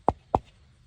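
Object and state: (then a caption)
Carbon fiber mirror cap. Two knocks on a new carbon fiber car mirror cap, checking whether it sounds hollow. Each knock is a short, dry tap with a midrange tone around 785 Hz that dies away almost at once.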